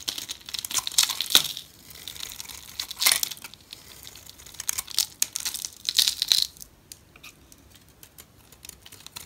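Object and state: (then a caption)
Bar soap being carved. A utility knife blade shaves and carves the edge of a solid, palm-sized green Dalan bar soap held in a hand with long red nails. Crisp, bright scraping and crumbly crackles come in bursts, with quieter stretches between them and a near-silent tail.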